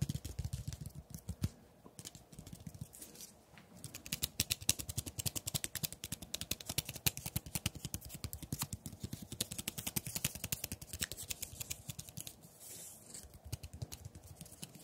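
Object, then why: Wooden tree branch with bark. Fingertips and nails tap and scratch along a single long, thin, solid wooden tree branch with partly peeled bark, held in the hands. Rapid, irregular dry clicks and taps run throughout, mixed with bright scratchy rasps and soft low thumps. Each hit stops at once with no ring.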